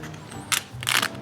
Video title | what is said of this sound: We Tried Belgium’s Most Famous Foods — Honest Ranking | ฉันว่ามันเหมือนคาราเมลที่ราดด้วยจานกระดาษจริงๆนะ